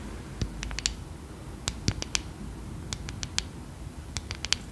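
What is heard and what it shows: A hand-sized brush with a solid light wooden back and dark boar bristles is worked with long acrylic nails, which tap on the wooden back and scratch across the bristles. Quick, dry, high clicks and ticks come in small irregular clusters over a low, steady background hiss, each dying away almost instantly.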